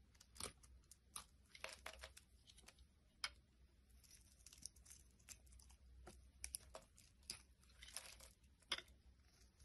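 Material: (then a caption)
Soap. A hand-sized, solid, translucent red bar of soap is held in the hand and carved and scraped with a metal blade, breaking off brittle pink flakes. The result is a quiet series of crisp, bright scraping and crunching bursts with short pauses between cuts, over a faint low steady hum.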